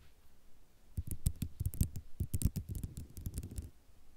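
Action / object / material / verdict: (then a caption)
scrape / ceramic mosaic tile sheet / ceramic / none. Long nails scratch across a white ceramic mosaic tile sheet, producing a quick run of short, dry clicks and scrapes. Each stroke carries a low, soft thump under a bright tick. The sound begins faint, grows busier in the middle, and fades back to a quiet scratching.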